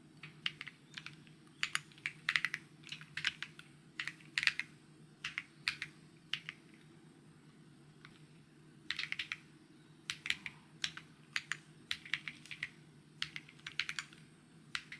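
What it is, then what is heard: Plastic mechanical keyboard. Fingertips type on a white mechanical keyboard with plastic keycaps, producing quick, bright clicky taps in uneven bursts. There is a short pause in the middle before the typing resumes over a faint steady low hum.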